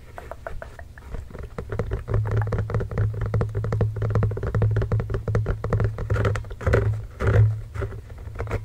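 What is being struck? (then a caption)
Inflated rubber basketball. Both hands tap and scratch with fingertips and short nails on a full-size inflated Spalding Fast Break basketball, hollow with a pebbled rubber surface, resting on a blanket next to the microphone. Quick, irregular patters of soft thumps carry a low hollow resonance that hums beneath them, with light scratchy texture on top. The tapping starts quiet and grows louder and denser after about two seconds, peaking near the end.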